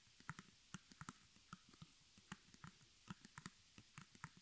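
Long nails tap and scratch the front of a small square white stretched cotton canvas on a wooden frame, embroidered in black with crossed arrows and the letters HOME, its fabric hollow behind. About eighteen quiet, irregular taps each give a short, dry hollow thump with a bright click that dies away almost at once, with faint scratching between them.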